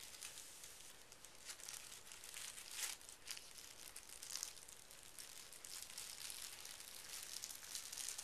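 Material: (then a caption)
Paper. A thin sheet of pink tissue paper, folded into a flat rectangle on carpet, is smoothed and folded with fingertips and palms with short painted nails. The result is a quiet, steady, bright crinkling rub with soft papery swishes and occasional louder crisp rustles, concentrated in the high range with little low end.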